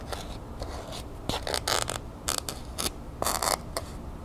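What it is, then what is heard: Cardboard gift box, scratched and tapped. Long nails scratch and tap the lid of a small hollow cardboard gift box wrapped in copper-colored paper with a sheer ribbon, held in the hand. Dry, bright scraping strokes alternate with short crisp taps over a soft, steady background hiss, with no ringing after each contact.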